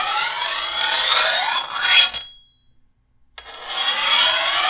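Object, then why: Steel machete blade and metal file. A rusty metal file is pushed by hand along the edge of a long, solid steel machete blade, making two bright, raspy scraping strokes. There is a brief silence between them and almost no low end.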